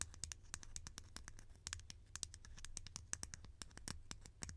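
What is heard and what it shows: A green, conical, hollow plastic lid held in the hand is tapped and scratched with long painted nails. A quick, uneven run of many sharp, dry clicks with bright high-pitched ticks dies away instantly, mixed with soft scratching over a low background rumble.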